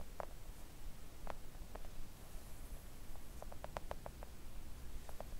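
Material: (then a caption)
Silicone. Long coffin-shaped press-on nails tap a thin, solid, flat pink silicone mat lying on a table. Soft, dull clicks come scattered, then in a quicker cluster near the end. A steady low rumble runs underneath.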